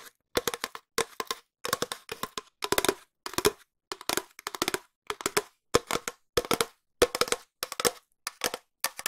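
A long, empty, hollow cardboard tube, held at various angles, is tapped with long nails. Quick dry, clicky taps come in bursts of fast and slower runs, with short pauses between groups. Each tap has a hollow mid-range tone and a bright edge, and dies away almost at once.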